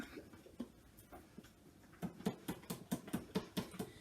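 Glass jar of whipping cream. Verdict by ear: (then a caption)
Not ready. A half-full glass jar of whipping cream is shaken to make butter, giving soft, dull low thumps that start sparse and quiet, then turn into steady, rhythmic knocks in the second half. There is no liquid sloshing, so the cream has not yet churned to butter and no buttermilk has separated.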